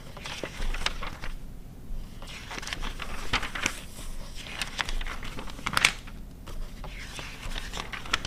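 Long red nails flip the pages of an open glossy paper car magazine from 2009 and scratch across the printed paper. The result is a steady run of dry crinkling, rustling page turns and short bright scratches over a low rumble.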